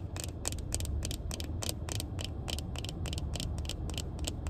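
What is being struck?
Plastic sunglasses frame.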